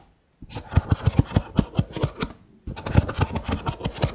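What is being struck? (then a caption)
Nested kraft paper cups. Fingertips and nails scratch and tap the ridged rims of a stack of nested brown kraft paper cups, hollow and empty. Two bursts of rapid, low, dull thumping taps sit over a soft scratchy rustle, split by a brief pause near the middle. Each tap dies away almost instantly.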